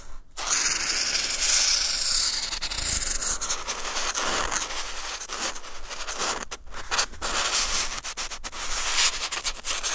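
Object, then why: Felt-tip marker on textured drawing paper. A felt-tip marker tip is rubbed and dragged across a flat sheet of white textured drawing paper, drawing blue lines. The sound is a steady, bright, scratchy rasp, mostly in the high range, broken by short dips and brief pauses between strokes.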